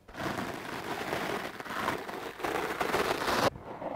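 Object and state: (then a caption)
Foam microphone windscreen brushed. A hard-bristle wooden clothes brush is dragged across a dark blue foam microphone windscreen, making a dense, scratchy, crackling rustle. The strokes run in continuous sweeps with brief dips between them, then cut off sharply near the end, leaving a softer scratching tail.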